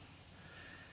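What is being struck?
Nothing is struck.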